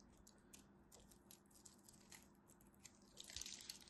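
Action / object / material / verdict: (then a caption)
scrape / bar of soap cut with a blade / soap / none. A craft knife blade carves into a solid green-and-white striped bar of soap, breaking off crumbly chips. Quiet, crisp crunching and scraping ticks come in quick, irregular bursts, mostly high and bright with little low end. The scraping grows denser and louder toward the end.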